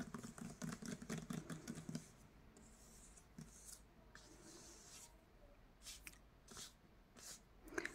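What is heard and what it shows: Fingertips and nails tap and scratch rapidly over the paper dust jacket of a solid hardcover copy of Castles in Their Bones lying flat on a bed sheet. A quick run of dry, crisp taps fills the first two seconds, then softer scratching and a few scattered taps follow, ending with a slightly brighter tap.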